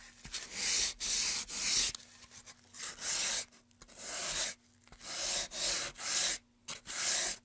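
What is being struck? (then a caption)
Carved pine wooden tray. A gloved hand rubs sandpaper back and forth inside the carved channel of a solid light-wood carved pine tray. The result is a series of bright, hissy scraping strokes with short quiet gaps between them and almost no low end.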